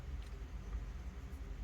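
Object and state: Nothing is struck.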